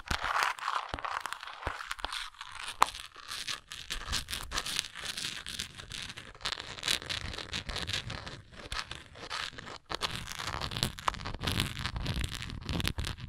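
Long nails scratch and tap on a textured plastic antacid container. A dense, crackly run of bright scraping and rasping is broken by sharp, quick taps, with one especially crisp tap early on. The sound stays steady and close throughout, with no voice.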